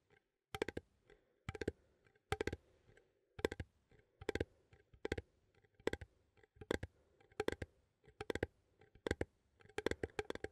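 A small cylindrical metal coffee tin, held near the microphone, has its lid rim clicked and tapped with fingernails. Short bursts of quick, bright metallic clicks come at fairly regular intervals, each burst a cluster of two or three sharp taps. The taps stop almost instantly, with only a faint hollow tone beneath them.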